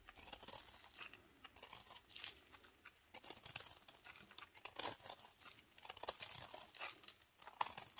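A knife blade repeatedly shaves crumbly flakes from a solid, dry recycled soap ball held in black-gloved hands. It makes a continuous run of quiet, bright, crisp scraping and crunching strokes, close-up and dry, with almost no low end.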